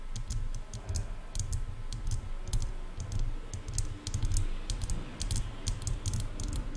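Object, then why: Plastic headphone ear cups. Long nails tap and click rapidly on hollow silver plastic headphone ear cups. Quick, bright clicks flicker over a steady low, hollow thumping that carries most of the energy, keeping up a busy, uneven rhythm throughout.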